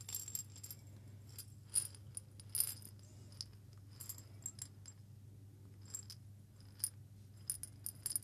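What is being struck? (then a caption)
Small glass jar with coffee beans. A small hollow glass jar with a metal lid, partly filled with coffee beans, is shaken and turned by hand. Quiet, bright clicks and rattling bursts come in irregular clusters as the beans tumble against the glass, with a low steady hum underneath.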